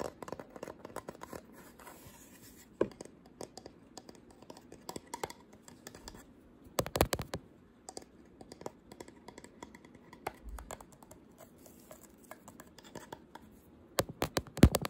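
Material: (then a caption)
Wood. Short pink-painted nails tap and scratch a small, flat wooden photo frame shaped like a camera, with a pink printed front. It makes a steady stream of quiet, dry, dull clicks and light scratching with almost no ring. Brief louder clusters of taps come around the seven-second mark and again near the end.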